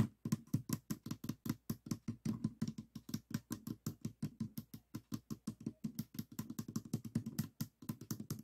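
Fingertips tap rapidly on the yellow top face of a small stickerless plastic 3x3 puzzle cube with a hollow mechanism, resting on a table. About fifty short, hollow, low knocks arrive in a quick, steady patter. Each tap dies away almost at once, with a faint bright click on top.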